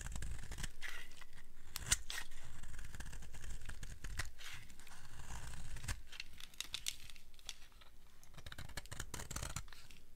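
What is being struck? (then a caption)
Bar of soap scraped with a blade. A utility blade held in long-nailed hands scrapes and shaves a solid, dry red soap bar. Steady dry scraping comes through in rapid, uneven strokes, with crisp crackling snaps and bright scratchy edges over a low rumble.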